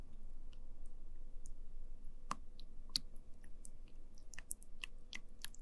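A wooden spoon presses into, scoops and lifts from orange sticky jelly pudding filling a small translucent plastic cup. Brief, bright, sticky clicks and squishes pop out at irregular moments over a steady low background hum.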